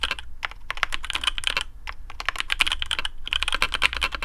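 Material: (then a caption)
Plastic. Fingertips of both hands type rapidly on a black custom AARU mechanical keyboard with TTC Speed Silver switches, PBT plastic keycaps, a carbon fibre plate and a hollow case. The result is a dense stream of short, sharp, bright clacks centred around 2.4 kHz that stop almost instantly, over a steady low rumble.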